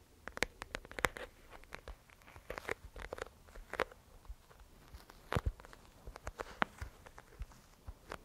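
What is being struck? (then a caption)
Sealed plastic disk filled with gel beads. A round, flat, clear plastic disk, palm-sized, sealed and filled with yellow gel water beads, is held in both hands and tapped and scratched with long manicured nails on its smooth surface. The result is a quiet, uneven series of sharp, dry clicks and taps that die away instantly, mixed with soft scratchy rustling.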